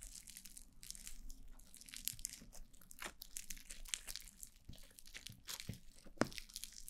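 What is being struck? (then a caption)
Foam bead slime. White foam-bead slime (floam) is squeezed and rubbed on the sides of a black mannequin-head microphone by both hands with long blue nails. It makes dense, continuous crunchy squishing and crackling with bright popping bursts over a quiet low rumble.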